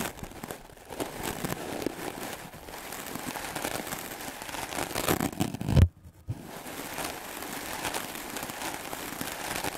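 A solid white rectangular melamine foam sponge, held by the fingertips, is brushed rapidly back and forth with a wooden-backed clothes brush with stiff black bristles. The result is a steady, dense, scratchy crackle with a low rumble underneath. Near the six-second mark a louder thump cuts to a brief silence before the brushing resumes.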